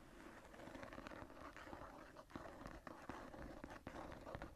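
Long nails and fingertips scratch the floral relief on the tooled brown leather cover of a closed embossed journal lying on a table. A soft, steady rasping scratch runs throughout, broken by scattered sharper scrapes and light taps, with the sound sitting mostly in the low and middle range.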